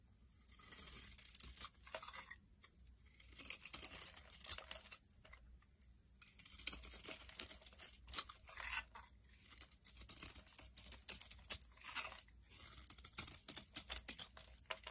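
A solid oval soap bar with a blue shell and white core, held in the hand, is carved with a utility blade. Bursts of bright, crisp scraping and shaving sounds come one after another with brief pauses between them, over a faint low hum.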